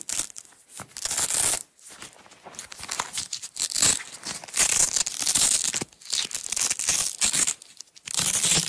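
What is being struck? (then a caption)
Nylon hook-and-loop (velcro) tape strip. A strip of red nylon hook-and-loop tape is pulled off its roll while fingernails lift and peel it. Bright, raspy ripping bursts come in several long pulls, separated by quieter crackling pauses, with almost no low end.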